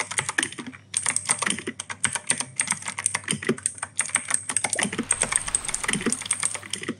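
Fingertips type steadily on the plastic keycaps of an E-Yooso K-620 mechanical keyboard with clicky Outemu Blue switches. It makes a rapid, continuous run of sharp, bright clicks with a high, crisp click tone and a soft, light thud beneath, each keystroke dying away almost instantly.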